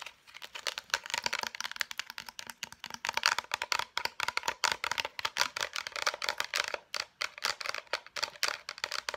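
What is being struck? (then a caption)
Cardboard and plastic blister pack. Long nails tap rapidly on a concealer blister pack, striking both its clear plastic shell and the cardboard backing. The bright, crisp clicks come in a dense, uneven stream, each one dry and short with almost no low end.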